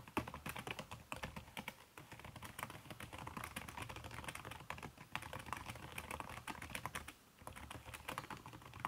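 Fast typing with fingertips and long red-painted nails on a backlit aluminium laptop keyboard whose plastic keys are covered by a red silicone skin. Dense, rapid, muted clicks run nearly continuously, with a brief pause just after seven seconds.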